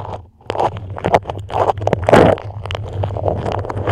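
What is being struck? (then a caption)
Beeswax-coated fabric wrap. A dark patterned beeswax food wrap, a thin, flexible waxed cloth pulled tightly over a microphone head, is scratched and grasped with long acrylic nails. The result is a run of close, crackly scratches and crinkling bursts with sharp bright clicks, over a steady low hum.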